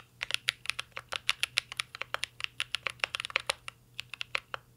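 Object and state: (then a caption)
Mechanical keyboard with metal case and plastic keycaps. Fingertips of both hands type continuously on a mint green Cyberboard R3 mechanical keyboard with a metal case and plastic keycaps. The keystrokes land as rapid, short, bright clicks that die away almost instantly over a faint low hum.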